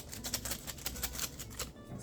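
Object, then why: Small package with metal earrings inside. A small gift package sent from England, holding metal earrings, is handled and shaken. It gives a quick run of light, bright rattling clicks from the metal pieces inside, each dying away almost at once.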